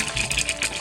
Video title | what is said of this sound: 3 OUTFITS for HALLOWEEN | sounds like a skeleton when I shake it